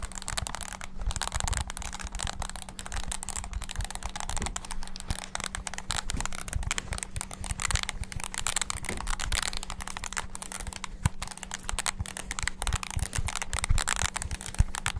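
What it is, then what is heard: Plastic mini keyboard, keys pressed. Fingertips rapidly press the keys of a small black handheld plastic mini wireless keyboard. A dense, continuous stream of quick, bright plastic clicks and taps runs throughout, over a steady low hum.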